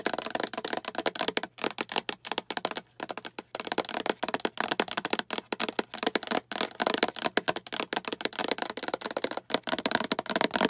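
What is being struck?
Plastic food container.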